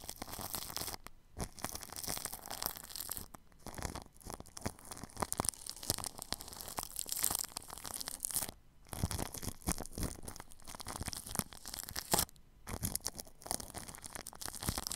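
A paintbrush brushes and scratches left to right across clear plastic cling film wrapped over a spherical metal-grille microphone. The result is a dense, continuous crinkling and scratchy rustle with bright hiss and a low rumble, broken by a few brief quiet pauses.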